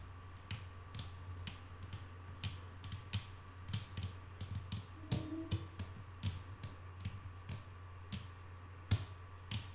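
Long painted nails of both hands tap on a solid, flat wooden tabletop, making about 22 quick, dry, bright clicks at an irregular pace. The taps are heard over a steady low hum and a faint constant tone.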